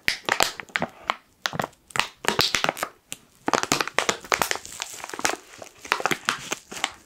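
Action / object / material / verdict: scrape / foil-lined plastic coffee bag / foil plastic / none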